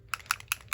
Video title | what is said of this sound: Warm and Cozy | you can hear the bouncy ball on the inside there. That means it's shaking up.